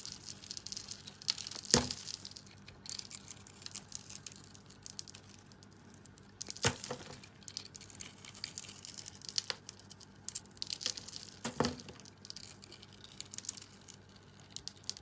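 A small metal blade scrapes and cuts into the coarse blue glitter crust of a blue and white swirled solid bar of soap held in the hand. Soft, bright crackling and crinkling scrapes continue throughout, broken by three louder, sharp cuts.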